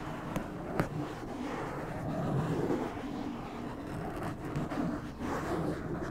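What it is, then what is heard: Foam microphone windscreen being scratched. Fingertips of both hands rub and scratch a black foam windscreen on a white microphone, making a steady, muffled, wind-like rumble. The sound is mostly low and dull, with a few brief sharper scratches near the start and gentle swells in loudness throughout.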